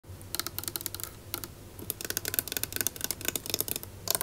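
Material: Wood.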